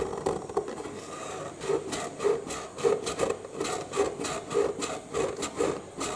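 Short nails scratch and tap across the green end panel and folded flap of a hollow cardboard box held in both hands. Dry, papery rasping is broken by soft, irregular hollow taps with a muted resonance around 400–500 Hz and a bright scratchy edge, with each tap dying away quickly.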